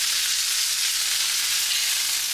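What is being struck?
Nothing is struck.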